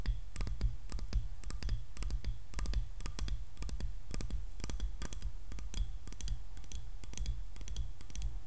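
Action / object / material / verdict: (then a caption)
tap / wooden hairbrush handle / wood / none. Long nails tap quickly and irregularly on a solid wooden hairbrush handle, and the brush is turned upright partway through. Each tap is a short, dry, bright click that dies away almost at once, over a steady low hum.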